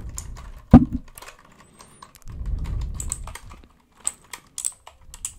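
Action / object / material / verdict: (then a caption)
tap / mechanical computer keyboard with plastic keycaps / plastic / none. Fingertips tap and scratch across the plastic keycaps of a white mechanical computer keyboard tilted toward the mic. A heavy thump near the start gives way to scattered clacks, then a stretch of low, rustling scratching. Sharp, bright key clicks close the clip.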